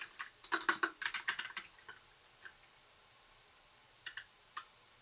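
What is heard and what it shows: Fingertips type on a compact white plastic mechanical keyboard with lit keycaps and a hollow case. A quick run of sharp, bright clacks fills the first two seconds, then a few isolated taps follow after pauses. Each keystroke is crisp and dies away almost instantly, with no low-end thump.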